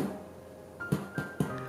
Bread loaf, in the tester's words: you can hear a hollow sound. It means that it is completely cooked and will not shrink after cooling down.